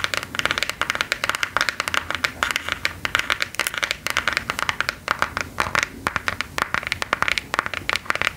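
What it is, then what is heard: Plastic phone case tapped and scratched with long nails. A smartphone in a hard plastic case with a gear print, held flat at chest height, is tapped and scratched with long gold claw nails. Rapid, bright, clicky nail taps, each dying away almost instantly, mix with scratchy scraping across the case in a steady, dense rhythm.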